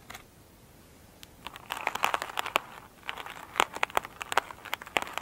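Long pointed nails scratch an elongated oval foam sponge with a glittery surface, soft and solid, lying on a table. After about a second and a half of near silence, dense bursts of crisp, crinkly scratching and crackling begin, bright and mostly in the upper range with almost no low end. The clicks are short and dry, rising and falling in clustered flurries until the end.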